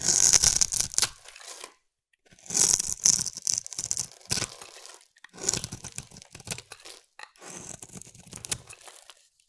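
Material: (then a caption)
Soap. A solid cream-white bar of soap is held in the hand and scraped along its edge with a metal blade, shaving off fine curls. The scraping comes in four bursts of crisp, bright, tearing crunches separated by short silences.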